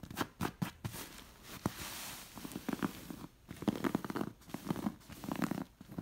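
Long nails scratch and trace over the stitched fabric appliqué animal patches on a stuffed beige cotton pillow. The result is soft, dry, rasping scratches in quick bursts, with brief quiet gaps between strokes.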